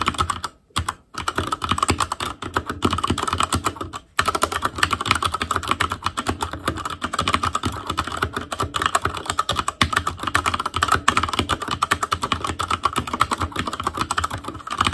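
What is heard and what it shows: An ASUS ROG Claymore Core mechanical keyboard with Cherry MX Red switches, black plastic keycaps on a metal frame and a hollow RGB-backlit housing is typed on continuously with the fingertips of both hands. A dense stream of quick, dry plastic clacks with a mid-range tonal click runs for fifteen seconds, broken only by brief pauses near the start and around the four-second mark.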